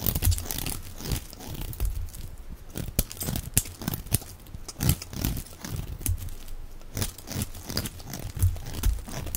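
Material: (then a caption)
Soap. A box-cutter blade scrapes and shaves a solid, dry, hand-sized yellow soap bar held in the palm, and curled shavings fall onto a pile of soap flakes. It makes a steady run of crisp, crunchy scraping strokes with bright, crackly edges over a heavy low rumble, each stroke cut short with no ring.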